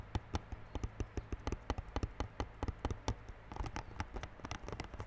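Fingertips tap quickly on the clear plastic-wrapped front face of a small yellow cardboard Realme Buds Classic earphone box lying flat. A rapid, uneven run of short, dry taps, each with a soft low thump and a faint bright crinkle of the wrap, dies away instantly with no ring.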